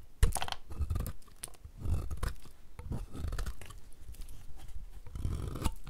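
A solid, dry, oval pink bar of soap held in the hand is cut and scraped along its edge with a utility knife blade, shaving off flakes. The result is a series of crisp, crunchy scraping and cutting strokes with a dull, low body and short bright edges.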